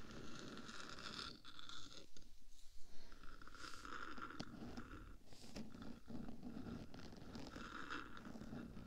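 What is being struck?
Hollow metal microphone body.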